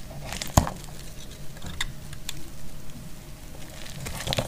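A solid, dry yellow soap bar held in the hand is sliced with a metal utility blade. It makes dry, crisp crackling and scraping clicks, with a sharp snap early on and a burst of bright crackles near the end, over a low dull rumble.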